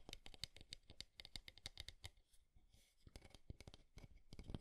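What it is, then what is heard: Wooden alarm clock. Fingertips and nails tap and scratch along the wooden frame edges of a small, square, light wooden alarm clock with a round clock face, held up in both hands. The result is a quiet run of rapid, dry, clicky taps that die away almost instantly, with a softer, scratchier stretch in the middle before the tapping picks up again.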